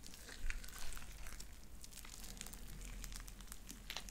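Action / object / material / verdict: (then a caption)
scrape / sticky slime with small beads / slime / none. Light-blue sticky slime with white beads is pulled between two hands into sticky strings, then squished in the fingers. Soft, irregular crinkly crackles and small bright pops run throughout over a low, steady rumble, with a couple of louder squishes near the start.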